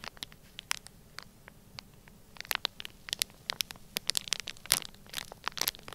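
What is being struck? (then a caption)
Sealed plastic bag filled with kinetic sand. Fingertips press and rub the surface of a flat, sealed, clear plastic bag, palm-sized and full of orange kinetic sand. Bright, dry crinkles and sharp crackles snap out irregularly over a faint hiss, sparse at first and growing busier from about halfway. The loudest crunchy burst comes near the end.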